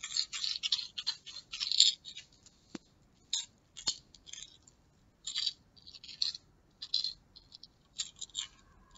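A small plastic pill bottle with a yellow label and white cap is held in a fist, fingertips gripping it, and shaken so the pills rattle inside. Quick, bright, dry rattling bursts come in uneven clusters with short silences between them and a couple of sharp isolated clicks, with almost no low end.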